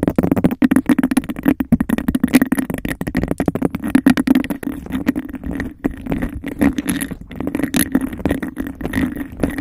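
Long nails rapidly tap and scratch on the sides and rim of a hollow, empty, hand-sized cup of textured glass. The result is a dense, fast stream of short, dry clicks and rasping scrapes with a faint tone near 260 Hz, little low rumble, and almost no ring after each strike.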